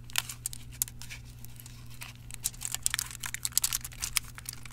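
Fingertips press, scratch and crinkle the surface and edges of thin silver aluminium foil wrapped around a solid dark chocolate bar lying on a towel. Bright, sharp crackles and crinkles come in quick irregular bursts, growing busier in the second half over a steady low hum. The clip is quiet overall, and each crackle stops at once with no ring.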